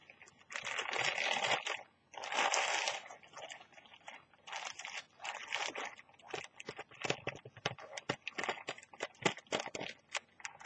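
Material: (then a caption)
Plastic film. Fingertips with long teal nails fold and crinkle a thin, empty orange plastic carrier bag with a Brainwash print lying flat on a white surface. Two sustained, bright crinkling rustles open the clip, followed by a run of quicker, irregular crackles and crunches with almost no low end.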